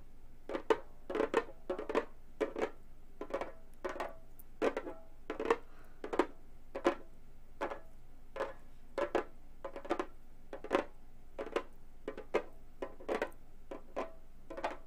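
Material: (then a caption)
Synthetic membrane. Long gold metal finger claws tap near the rim of a hollow, round Remo frame drum with a synthetic head. The result is a steady, irregular series of quick, dry, clicky taps with a mid tone around 460 Hz and bright metallic edges. Each tap dies away almost instantly against a quiet background.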